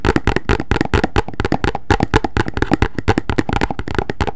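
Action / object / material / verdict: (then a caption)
tap / cardboard box / cardboard / none. A hollow, medium rectangular white printed cardboard box with an orange end is held in both hands and tapped and scratched with long fingernails. A quick, steady run of short, dull taps with hollow, low-heavy thuds is mixed with soft scratching and very little brightness. Each hit dies away almost instantly.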